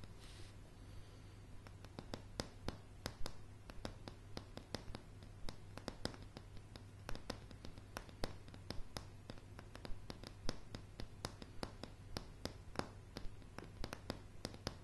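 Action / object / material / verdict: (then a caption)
tap / pine floorboards / wood / none. Long, dark blue polished fingernails of both hands tap on a solid floor of light pine floorboards, giving sharp, dry, irregular clicks mixed with some soft scratching. A steady low hum sits beneath the quiet tapping throughout.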